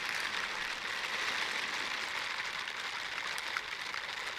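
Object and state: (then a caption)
Silicone dishwashing gloves rubbed together. Teal silicone bristle dishwashing gloves are pressed palm to palm and rubbed together beside the microphone. The result is a steady, dense, bright scratchy hiss with no low end, holding an even level for the whole clip apart from a small jump and dip near the end.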